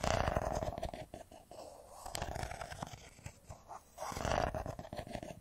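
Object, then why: Smartphone, metal and glass. A hand-sized, solid silver smartphone in a metal-and-glass body is held in both hands and tapped and scratched with fingertips and nails. Dense, rapid scratching and light tapping carry a steady mid-pitched rasp. The sound is loudest at the start and again near the end, with a quieter, sparser stretch in between.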